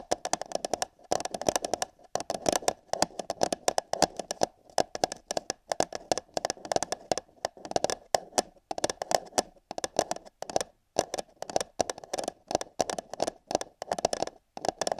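Long nails tap and scratch the side wall of an empty, hollow paper cup held over a binaural microphone ear. Quick, dry, hollow taps come in dense clustered bursts with brief pauses between them. A papery scratching texture runs through the taps, with a resonant midrange body around 700 Hz and a bright edge.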